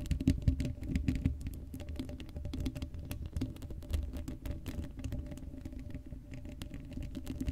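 Long acrylic nails on both hands scratch the hollow black steel mesh grille of an uncovered Blue Yeti microphone head. The result is a dense, continuous patter of quick scratches and taps that sounds heavy and muffled, with most of its energy in the low end and very little brightness. It is loudest in the first second or so, then settles into a steady, even rustle.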